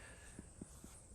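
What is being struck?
Nothing is struck.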